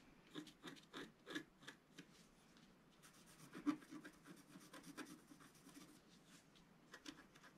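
A wooden stylus scratches lines into the coating of a flat, black-coated scratch-art paper card. The result is a run of short, quiet, dry scratching strokes with a rasping, papery texture and bright edges, each stopping almost at once.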